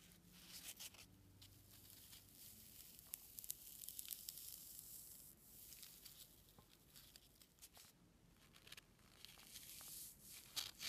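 A single small, light, white solid-foam packing peanut, possibly expanded polystyrene, is held between fingertips and thumb and repeatedly squeezed and squished over a pile of peanuts. The result is a quiet, bright, crackling squeak and crinkle, almost all in the high range, with irregular sharp clicks and rubbing bursts throughout.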